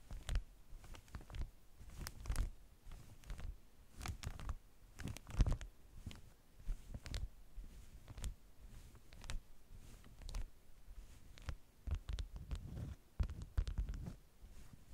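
Long nails scratch and tap the waxed sheet on top of a layered stack of beeswax-coated cotton food wraps. Quiet, dull, muffled taps and soft scratching strokes come in an irregular stream, each dying away almost at once, with most of the sound sitting low and only faint high edges on the sharper contacts.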